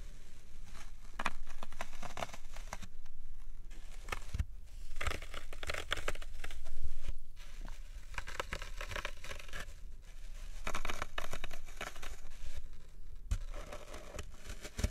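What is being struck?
Floral foam block.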